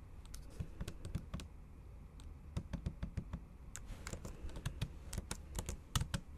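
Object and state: Laptop keyboard typed on with fingernails.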